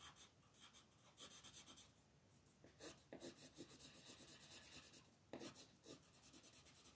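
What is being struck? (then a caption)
Colored pencil on a paper sheet. A green wooden colored pencil rubs across a flat, thin paper coloring page in quick shading strokes. Each stroke makes a soft, scratchy, bright rasp that rises and falls in a steady rhythm, with a few firmer passes standing out. The result is quiet, close-up pencil-on-paper texture.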